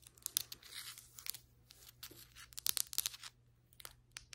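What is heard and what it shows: Long acrylic nails scratch along flat, solid ceramic floor tiles and across their grout lines. The result is a dry, bright, crackly scraping texture broken by sharp, fast-decaying clicks and brief rasping bursts, with almost no low end.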